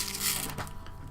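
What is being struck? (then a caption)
Small pot of metal ball bearings. A small pot of metal ball bearings is picked up and rattled. The balls clatter together in a dense, bright metallic rattle over a low steady hum. The bearings are meant to be dropped one or two into paint bottles so shaking mixes the paint, like the ball in a spray can.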